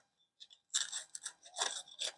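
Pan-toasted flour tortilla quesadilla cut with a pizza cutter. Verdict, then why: Crispy. A pizza cutter rolls through a pan-browned chicken quesadilla in a flour tortilla, cutting it in half. A few faint ticks give way to loud, bright, dry crackling crunches in short bursts, with almost no low end, showing that the quesadilla is crispy.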